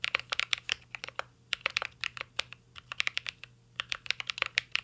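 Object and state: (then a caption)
Mechanical keyboard typing. Fingertips type continuously on a mint-green Cyberboard R3 mechanical keyboard with plastic keycaps and an aluminum case. The result is a steady stream of short, bright, clicky taps in uneven bursts, with brief pauses between runs and a faint low hum underneath.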